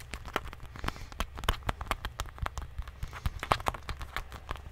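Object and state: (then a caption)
Rubbery plastic medicine bottle. A small rubbery plastic medicine bottle with a white cap, held in one hand, is tapped and squeezed with fingertips and nails. It makes a rapid, irregular run of short, dry clicks and taps over a low background rumble.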